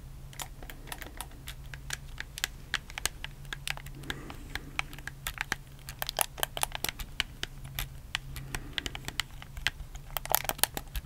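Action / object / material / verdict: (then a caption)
tap / plastic game controller / plastic / none. A black, hollow plastic PS4 controller is held in both hands while fingertips press and click its buttons and thumbstick. The result is a quick, irregular run of sharp, bright plastic clicks and taps over a steady low hum.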